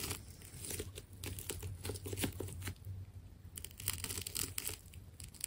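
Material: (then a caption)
Plastic tape. A small metal scraper blade cuts into a white and purple plastic tape ball and peels back its layers. The result is a run of sticky tearing and crinkling crackles with bright, hissy edges over a steady low hum, pausing briefly before the peeling picks up again.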